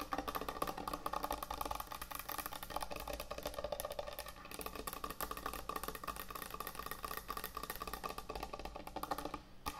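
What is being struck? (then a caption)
Wooden butcher block cutting board. Long acrylic nails and fingertips tap and scratch fast across the top of a large, thick, solid end-grain hardwood butcher block cutting board resting on a counter. A dense, continuous stream of quick, dry, woody clicks and knocks with very short decay runs throughout, centered in a hollow mid tone around 1.2 kHz and mixed with scratchy high rasps. A faint steady low hum sits underneath.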